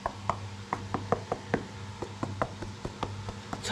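Knocking on the cement floor base of a cave house, next to a large crack, after the old tiles have been lifted. A steady series of short, dull knocks with a hollow ring around 1 kHz plays over a faint low hum. The floor is hollow underneath: breaking it open reveals empty space and a hole filled with rubble.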